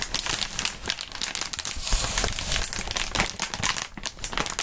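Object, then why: Inflated plastic air column cushion wrap. Clear inflated plastic air column cushion packaging, long and air-filled, is squeezed, bent and crinkled by gloved hands. Dense, continuous bright crinkling and crackling fill the clip, with a louder swell of rustling in the middle and some low thumps underneath.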